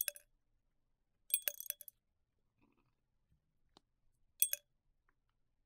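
A gloved hand holds a tall, hollow, clear glass tumbler, empty apart from a little residue, and the fingertips tap and clink on its wall. The result is short, bright glassy clinks in quick bursts, with a tiny ring and long silences between them.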